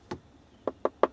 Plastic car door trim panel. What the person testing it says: it feels solid. It sounds solid.